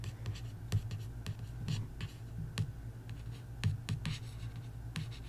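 A long nail scratches and traces along the printed card cover of a paperback coloring book. Soft, dry scraping strokes are broken by sharp, bright ticks. A steady low hum runs underneath throughout.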